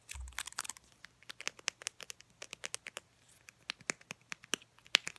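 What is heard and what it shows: Long painted nails tap and scratch a filled mini Crest toothpaste tube, a soft plastic laminate tube with a white plastic cap. The result is a quick, irregular run of dry, bright clicks and crinkly scratches with no ring. A brief low thump comes at the very start.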